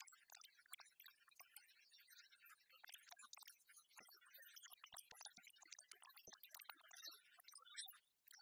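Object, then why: Oversized metal coin replica. A palm-sized, copper-coloured giant one-cent coin replica made of solid metal is held flat in one hand and rapidly tapped and scratched with long natural fingernails. The result is a dense stream of quiet, bright clicks and scrapes with almost no ring, sitting mostly in the high frequencies.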